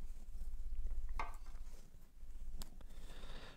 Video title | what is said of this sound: Retrouvez Sirouy et ses amis. Aujourd'hui, les enfants apprendrons à faire du pain ! ;o) | quand on tape dessus et que ça sonne creux ça veut dire que le pain est cuit